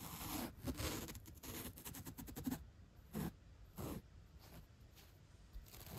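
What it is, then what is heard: Foam block being brushed. A stiff bottle brush with white bristles and a black bristle tip brushes and scratches across the surface of a thick 3-inch white polyurethane upholstery foam block, solid and soft, resting on a purple shag rug. A dense run of quick, bright scratchy strokes fills the first half. It then gives way to a few slower, separate soft swishes with quiet pauses between them.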